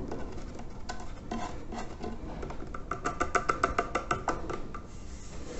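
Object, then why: Terracotta clay water filter. Fingernails scratch and rub the rough side of a large, hollow terracotta clay water filter near its red bands. Soft, dry scratching comes first, then a run of quicker, sharper strokes that give off a faint hollow ring around 1.3 kHz before easing back into quiet rubbing.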